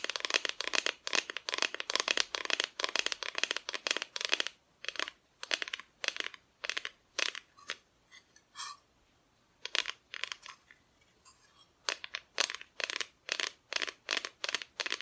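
A flat, thin, solid cut-out plywood Christmas decoration, about a hand-span wide with a painted front and shaped as Mrs Claus, a tree and Santa, is held in both hands and tapped with long painted nails. Dozens of quick, bright, dry clicks come in rapid bursts with short pauses, each dying away almost instantly with no low-end body.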